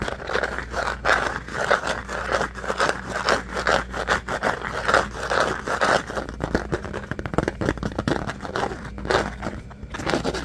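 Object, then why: Rigid plastic food-container lid. Fingernails scratch and tap the surface of a rigid, hand-sized, pink plastic rectangular food-container lid held in both hands. The result is a dense run of dry, crackly scraping strokes mixed with quick light taps, centered in the midrange over a faint steady low hum.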